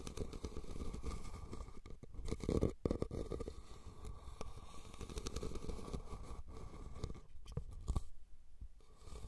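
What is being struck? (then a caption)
Woven rattan basket. Fingernails scratch the weave of a red, hollow, cylindrical woven rattan basket turned upside down over the recorder. The result is a steady, low, muffled rasping and crackling that stays mostly in the bass, with brief louder scratches and a short quiet gap near the end.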